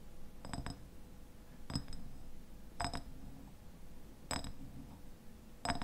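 Fingernails tap and scratch the sides of a medium glass raspberry jam jar with a white lid and paper label. Short, bright clinks come in paired bursts spread across the clip, with a faint ring near 690 Hz and glassy overtones up high. The taps decay quickly against a low, steady background hum.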